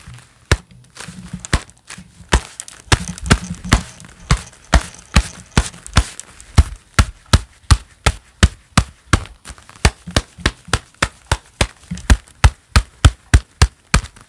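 A pair of black leather gloves worn on both hands clap palm against palm again and again in a steady, fairly quick rhythm. Each clap is a short, dull, low thud with a brief slap of brighter texture and almost no ring. Softer rustling of leather fills the gaps between the claps.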